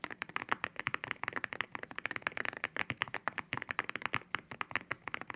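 Fingertips type on a mechanical keyboard fitted with ceramic keycaps, making a fast, steady run of short, bright clacks that each die away almost at once. The clicks sit mostly in the upper mids with a glassy high edge and almost no low thump.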